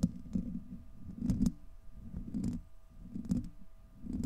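Fingertips and nails of both hands scratch a hollow, domed steel wire-mesh microphone grille. The result is a close, muffled scratching rumble centered low, around 200 Hz, broken by sharper bursts with brief bright clicks that recur unevenly through the clip.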